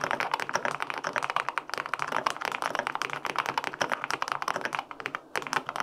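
Fingertips type steadily on the plastic keycaps of a white-pink full-aluminum 65% mechanical keyboard with linear switches. The result is a fast, continuous run of crisp, short clacks with a mid-pitched body and bright edges, with a brief pause near the end before the typing resumes.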